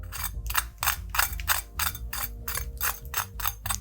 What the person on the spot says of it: let you see and hear how crispy these are